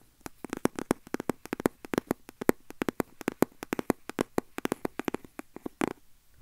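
A small, hand-sized red printed cardboard box with a black panel, hollow and likely empty or lightly filled, is held in hand and tapped and scratched with fingertips and nails close to the mic. About 38 quick, dry taps with a hollow midrange knock fall in an uneven, rapid rhythm, each dying almost instantly with no ring. Faint scratchy texture sits between the taps over a quiet background.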